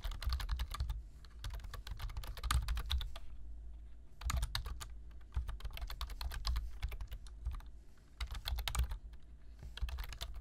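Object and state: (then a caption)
Plastic computer keyboard being typed on. Fingertips type on a black plastic computer keyboard, tapping the keys in quick bursts of bright, crisp clicks separated by short pauses. A steady low hum runs underneath the whole time.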